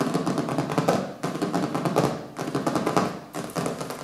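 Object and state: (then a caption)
Hardcover book. Fingertips and nails tap rapidly and scratch across the colorful printed cover of a small, solid hardcover book resting on a wooden table. Dense, crisp patters with a scratchy texture and a warm, mid-low tone come in several surging bursts, each gradually fading before the next begins.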